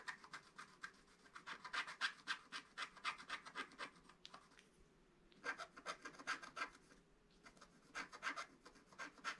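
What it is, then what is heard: Scratch-art paper being scratched. A wooden stylus scratches a flat, black-coated scratch-art paper page near its bottom edge. It makes quick, uneven strokes of dry, bright rasping with a short pause just before the middle and another near the end.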